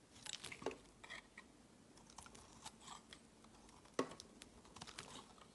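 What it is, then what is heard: Bar of soap being shaved with a knife. A metal utility knife shaves curls from the edge of a palm-sized, solid, round white bar soap with a ribbed pattern. The result is a series of soft, dry crunching and scraping cuts with a bright, crisp hiss, marked by a sharper, louder slice near the four-second mark against a quiet background.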